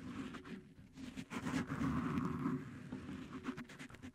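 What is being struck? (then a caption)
Cohesive fabric grip tape wrapped on a microphone head. Both hands scratch and rub with fingertips and short nails on blue stretchy cohesive flex grip tape wrapped around the head of a Blue Yeti microphone. A close, low-mid crackling rustle swells and fades in uneven bursts, with several brighter scratchy strokes standing out.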